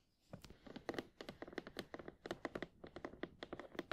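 Long painted nails of both hands tap rapidly on the front face of an upright printed cardboard retail box for Sony WH-1000XM4 headphones, hollow with the headphones still inside. About 24 quick, dry, clicky taps come in uneven bursts, each with a hollow midrange knock and almost no ring.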